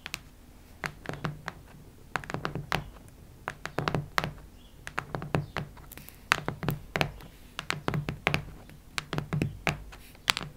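Long nails tap and knock on the cardboard cover of a cactus-print hardcover notebook. Quick, dry taps with no ring come in irregular clusters, some bright and clicky and others duller and thunkier, over a faint steady low hum.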